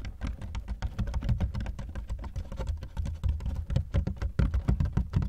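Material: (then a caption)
Plastic. Fingertips tap quickly across both ribbed sides of a large, black, hollow hard-shell plastic suitcase that is partly unzipped. The result is a rapid, continuous patter of deep, boomy thuds with almost no bright content, each tap dying away quickly.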